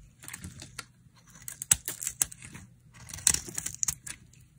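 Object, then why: Bar of soap scraped with a metal blade. A solid green and yellow bar of dry soap, held in the hand, is scraped and carved with a metal blade, cutting off thin shavings. A series of short, dry, crisp scraping and crackling strokes sounds mostly high and bright, with little low end and no ring after each cut.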